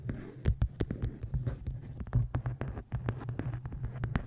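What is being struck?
Hardcover book with card cover.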